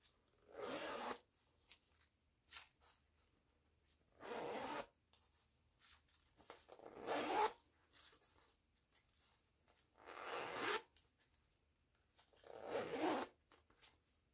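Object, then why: Nylon zipper on a small canvas pouch. Long-nailed fingers pull the metal pull of a green nylon zipper along its track on a small floral canvas pouch. Five quiet, rasping zips, each lasting under a second, are separated by soft clicks and taps in between.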